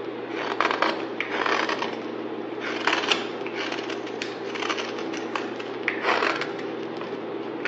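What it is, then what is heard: Green bar soap being shaved. A palm-sized, rectangular solid bar of pale green soap, held in one hand, is shaved with a utility knife blade held in the other. The metal blade scrapes and cuts thin curls into a pile of soap shavings. The result is a run of repeated dry, crackly scraping strokes, bright and mid-focused, over a low steady hum.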